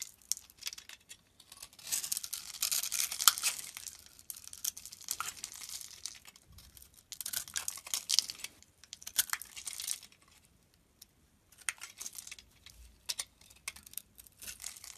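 A metal blade scrapes a grid pattern across the surface of a dry, solid, palm-sized yellow soap bar held in the hand, then cuts off small cubes that crumble onto the table. Bursts of bright, crisp scraping and crumbly crackling come in several rough passes, separated by short pauses.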